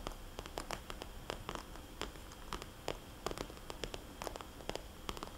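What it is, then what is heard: Plastic cosmetics bag, tapped. Long polished fingernails tap rapidly on a small, red polka-dot, glossy plastic cosmetics bag with a barcode sticker, lying flat as a hollow pouch. The result is a steady stream of sharp, bright plastic clicks that die away almost instantly, over a soft, low hiss and faint rustle.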